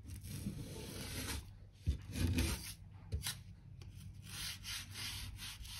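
A narrow crevice brush sweeps and scratches across old wooden floor planks, brushing dirt and dust out from the gaps between them. The clip is a steady, rough scrubbing hiss with a low, rumbling body and bright bristle noise on top. A few sharper scrapes and knocks stand out as the brush digs into the gaps.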